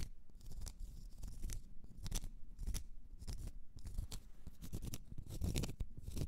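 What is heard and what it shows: Long nails scratch the end face and side of a large solid cork stopper. Quick, dry scratching strokes come in repeated bursts, each with a bright, raspy edge over a soft, low rubbing body.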